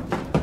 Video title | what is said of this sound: Scary Videos That'll Make You Nervous | that's not concrete that's Hollow